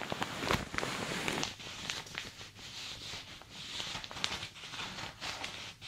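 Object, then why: Thin plastic shower cap. Fingertips and long dark nails tap and scratch across the top and sides of a thin plastic shower cap fitted on a dummy head. The result is a soft, bright, crinkly patter like rain, with sharper taps standing out from the steady rustle.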